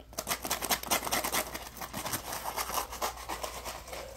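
A palm-sized, solid yellow polymer foam Scrub Daddy sponge is held in both hands while fingertips squeeze and rub it. It produces a quick, irregular run of bright, dry scratching and squeaking rubs, with short bursts that die away almost at once over a faint steady low hum.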